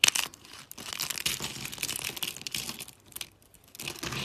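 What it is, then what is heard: Dry soap sheets. Thin, brittle teal dry soap sheets are bent and snapped between fingers with lilac nails, giving off dense, bright crackling and crunching. A sharp snap at the start gives way to a steady run of crisp crinkles, a brief quieter lull near the end, and then more crackling.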